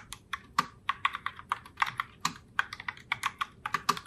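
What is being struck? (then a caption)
Plastic mechanical keyboard keys. A pink Logitech Pop Keys mechanical keyboard in Heartbreaker Rose with round plastic keycaps is typed on continuously by both hands with long nails. About 23 quick, sharp plastic clacks sound in an uneven rhythm, each a bright, crisp click that dies away almost instantly, with almost no low thump.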